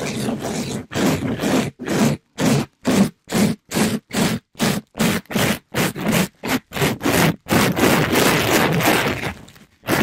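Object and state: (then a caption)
Mesh scrub sponge scraped on a mic. A palm-sized, soft pink sponge with a glittery plastic-mesh cover is rubbed and scraped by a black-gloved hand over the top of a microphone grille. It makes a fast, somewhat uneven series of rough, broadband scratching strokes with short gaps between them. Near the end the strokes run together into a longer continuous scrubbing.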